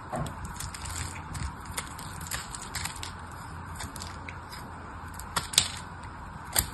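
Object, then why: Soap bar cut with a knife. A knife scrapes and cuts chips off the surface of a hand-sized solid red soap bar with silver-coated remnants, held in the fingers. A steady, bright, crackly scraping runs throughout over a faint low hum, broken by sharp, short clicks as chips break away, with the loudest snaps near the end.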